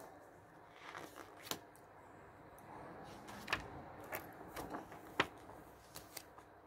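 Fingertips lift and turn the thin coated pages of an open glossy paper travel magazine lying on a wooden table, one by one. Quiet papery rustling and sliding is broken by about ten crisp, bright flicks and snaps as the pages turn over.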